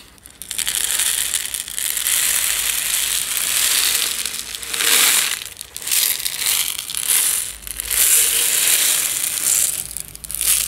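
A medium plastic jar with a yellow lid, partly filled with instant tea granules, is turned and shaken in the hands so the granules slide and rattle inside. The result is a bright, hissy rattle with almost no low end, rising and falling in long swells separated by brief quieter dips.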